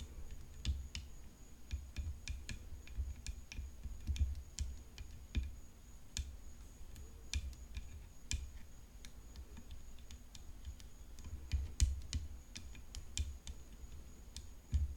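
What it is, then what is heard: Composite tennis racket frame tapped with nails. Long nails tap along the throat of a hollow composite tennis racket frame decorated with rhinestones, resting on black cloth. Quiet, irregular, short sharp clicks die away almost instantly over a low, steady rumble, with a faint high-pitched tone running throughout.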